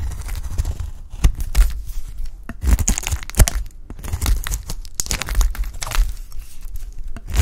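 A utility knife blade shaves a dry, peach-pink solid bar of soap, and the flakes fall onto a pile. A run of short, crisp scraping crunches repeats, each with a bright, dry edge over a dull low thud, and none of them ring on afterward.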